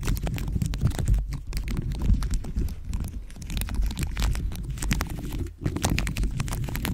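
Nails and fingertips tap and scratch a dome-shaped microphone cover studded with pink faceted plastic gems fitted over the microphone head. A dense, continuous stream of quick clicks and scrapes rides over a heavy, muffled low-end thumping, with only a brief dip in the activity near the end.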